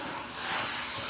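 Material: Nothing is struck.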